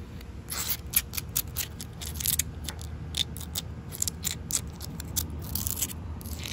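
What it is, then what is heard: Concrete paving slabs. Fingertips and long white nails tap and scratch the gritty surface of large, solid, damp concrete paving tiles with grooves. Repeated short, bright, scraping bursts with quick, dry taps sit over a steady low rumble, each sound stopping almost instantly.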